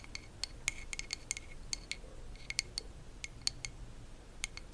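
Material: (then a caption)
Wood. Long acrylic nails tap and scratch the smooth, solid wooden back of a hand-sized hairbrush with natural bristles, held close to the mic. The result is a quick, irregular series of sharp, bright clicks with a clear high ring that stops almost instantly, heard over a faint low background rumble.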